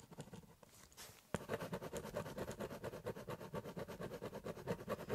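A biro pen scratches over the surface of a large, empty, hollow corrugated cardboard box, shading in a drawing. After a few faint, scattered scratches, a sharp tap starts a steady run of rapid back-and-forth strokes, each a dry, papery rasp with a hollow, boxy body.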